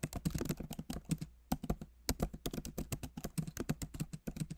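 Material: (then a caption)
Plastic. Both hands type rapidly with their fingertips on a backlit MacBook Pro Magic Keyboard, which has plastic keycaps in an aluminum body. Dense runs of soft, dry, low-pitched key taps with almost no ring are heard, broken by brief pauses before the typing resumes.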